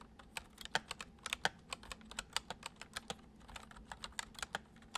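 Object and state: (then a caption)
Plastic computer keyboard. Fingertips of both hands type quickly on the hollow keys of a full-size white plastic computer keyboard resting on a wooden desk. About 25 short, bright clicks patter out unevenly with very brief decay, some keystrokes landing louder than others.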